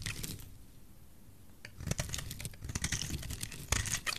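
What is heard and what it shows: A metal utility knife blade scrapes and shaves a solid oval white bar of dry soap held in fingers with dark nails. Dry, crisp scraping and crunching bursts with bright edges start the clip, then drop to near quiet for about a second. The cutting resumes with denser, louder crackles toward the end.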